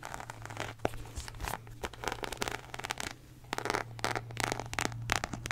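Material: Faux leather.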